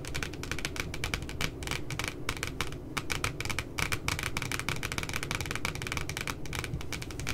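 Long nails rapidly tap and scratch along the edges of the photo on the glossy paper cover of a spiral notebook lying flat. The sound is a dense, continuous stream of sharp, bright clicks over a steady low rumble, with no ring after each tap.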